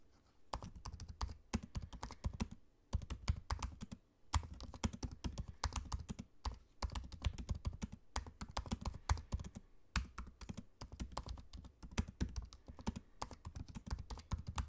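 Fingertips of both hands type on the low-profile black plastic keys of a space-grey aluminium laptop. Quick, soft, low thuddy taps run in dense bursts with very short ring, broken by brief pauses near the third and fourth seconds.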